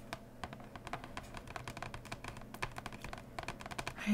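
Long painted nails and fingertips tap and scratch the front edge of the printed lid on a large, flat, hollow cardboard board game box (Root), lying closed on fabric. A quick, steady run of light, dry clicks with short decay fills the clip, each with a brief bright tick over a soft, hollow low body. It ends in a louder, brighter scratching swell.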